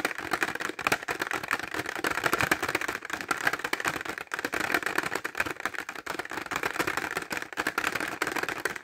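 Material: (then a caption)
Plastic. Fingertips and short nails tap fast on a clear rigid plastic pencil case full of glitter pencils, held horizontally. A steady stream of dense, crisp plastic clicks runs the whole clip, bright in the upper mids with almost no low end. Each tick stops short with no ring.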